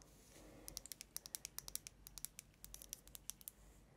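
Long nails tap and scratch the sides of a tall cylindrical glass Yankee Candle jar filled with dark blue wax and topped with a silver metal lid, held up in both hands. About 24 quick, bright, high-pitched clicks with almost no ring sit over a faint, steady scratching hiss.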